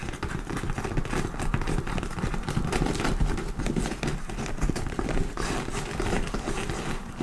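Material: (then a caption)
Leather. Long pointed nails scratch and tap the top edge and front panel near the handles of a medium dark-brown leather (possibly faux) handbag with stitched embossing, ruffle trim and a satin ribbon lace-up, standing hollow and upright. A steady, low-heavy scratching and rustling runs throughout, broken by quick, dry taps and crackles that die away instantly.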